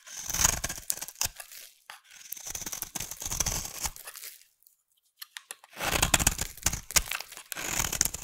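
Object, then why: Solid soap bar. A solid pink bar of soap held in the hand is shaved with a utility knife blade. Bright, crisp scraping and tearing strokes come in several bursts, with a short near-silent pause about halfway through.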